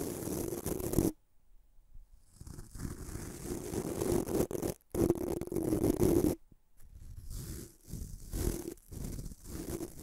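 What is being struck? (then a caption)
Bamboo-handled toothbrush with nylon bristles. Fingertips rub and flick the white nylon bristles of a small bamboo-handled toothbrush held above a metal microphone. The result is dense, scratchy brushing with a low, hollow tone and bright hiss, broken by short silent gaps. The strokes come as quick, uneven bursts.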